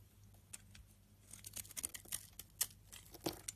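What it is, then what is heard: Soap bar scraped with a knife. A utility knife blade scrapes crumbly chunks off a solid white bar of rancid soap held in the palm. The sound is quiet, irregular, bright scraping with sharp crumbly clicks, over a faint low hum.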